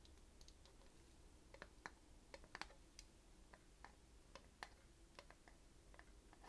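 Long manicured nails and fingertips tap and scratch on the dark screw lid of a small, hollow, empty-looking glass jar filled with clear glass-like beads, while the other hand holds the jar. The result is a quiet, irregular series of sharp, dry clicks with bright, brittle tops that die away almost instantly. A steady low hum sits underneath.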